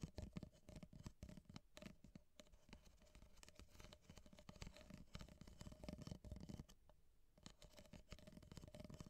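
Long painted nails tap and scratch the ribbed cardboard wall of an empty, hollow ripple-wall kraft paper coffee cup held upright. The result is a quiet, rapid stream of short, dry ticks and scratchy rasps, mostly low and hollow-bodied, over a faint steady tone near 600 Hz, with a brief lull before the scratching resumes.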